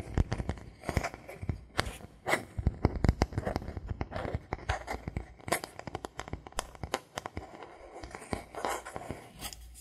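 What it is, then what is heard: Bamboo board. A thin, solid bamboo board held in the hands is scratched with fingernails and tapped with knuckles. The result is a steady stream of short, dry taps and clicks over a scratchy, rustling texture, each tap with a dull low thump and almost no ring.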